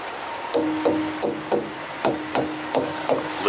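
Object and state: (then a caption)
Truck tires thumped to check inflation. A thumper strikes a truck's rubber tires one after another at a fuel stop to check inflation, producing a steady series of short, hollow thumps about a third of a second apart, each with a brief midrange ring. No flat or low tire is found; the tires sound normal.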